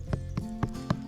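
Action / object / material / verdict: knock / earthen termite mound / hardened earth / hollow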